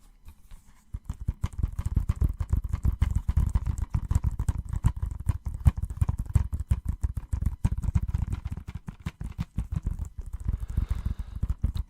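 Rapid, light tapping on the DVD case of the film La La Land produces a steady stream of short, dull, low-pitched taps. The taps are soft and quick, with no ring after each one.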